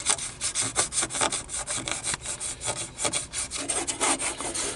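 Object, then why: Plastic car radio faceplate. Fingernails scratch and tap across the buttons and panel of a black plastic car stereo faceplate, a hollow unit. A rapid run of about twenty short, bright scratching strokes and light taps is heard, dry and hissy with little low end.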